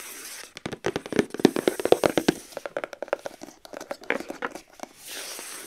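Long acrylic nails tap and scratch quickly across the top of a rigid white cardboard gift box lid. Dry, sharp clicks come in a fast, uneven flurry with a hollow midrange knock and scraping crackle, between stretches of soft, steady hiss.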